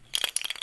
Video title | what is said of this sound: Ceramic Glass & Painting! | That's when you know it's running out, okay? It sounds loud when you shake it.